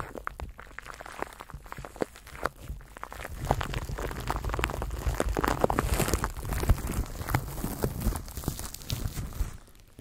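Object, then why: Plastic cling film wrapped around a microphone. A microphone wrapped in clear plastic cling film is held in both hands while fingertips rub and crinkle the wrap. Dense, irregular crackling and crinkling sits over a heavy low rumble, growing louder and busier after about three seconds before easing off near the end.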